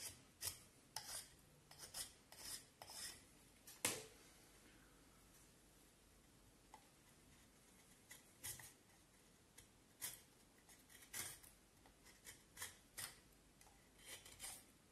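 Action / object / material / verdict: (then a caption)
scrape / vine wood stick under a knife blade / wood / none. A knife whittles and rasps along the surface of a solid vine wood handle blank in repeated strokes, making short, bright scraping bursts. The strokes come in a quick cluster, pause for a few seconds of near silence, then resume in another run of rasping cuts.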